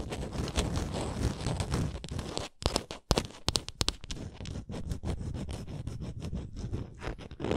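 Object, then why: Small painted wooden ornament. Long nails scratch along the edges of a small, solid painted wooden Canada ornament and tap its face. The result is a steady, dense scraping with a heavy low end, broken by a cluster of sharp, bright taps in the middle.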